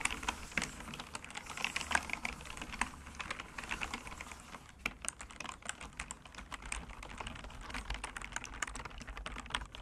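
Fingertips type rapidly on a solid, full-size computer keyboard with bamboo wood keys and frame, resting on a cork surface. The result is a dense, steady stream of short, dry wooden clicks and taps that are bright and quick to fade, with a faint low rumble underneath.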